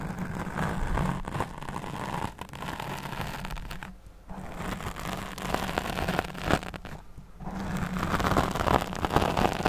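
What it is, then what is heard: Foam microphone windscreen scratched. Long nails scratch and brush across a black foam windscreen covering a studio microphone. The result is a dense, continuous scratchy rustle over a low, boomy rumble, with brief quieter pauses around the fourth and seventh seconds before the stroking builds louder again.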